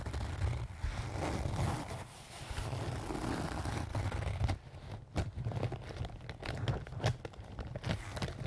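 A small, soft-sided pink-and-white leaf-print canvas zip pouch, apparently filled, is scratched and squeezed with fingernails and fingertips. It gives off a steady crinkling, scratching rustle over a low, muffled rumble. In the second half, the sound breaks into quick, sharp scratches and crunches.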